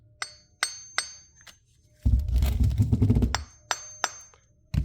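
A cast concrete sample is tapped repeatedly with a hammer to judge its hardness, giving short, dull clinks with little ring, then a dense burst of rapid knocking with heavy low-end thuds before a few more separate taps. The casting sounds dead, marking it as the softer of the two compared.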